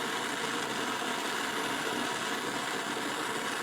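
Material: Nothing is struck.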